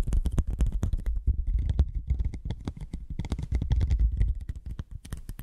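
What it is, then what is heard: Curved cardboard sheet. A thin white cardboard sheet bent into a hollow curve is tapped with long nails and fingertips. The rapid, irregular tapping makes dull, hollow, low thumps with sharp clicky edges that die away almost instantly.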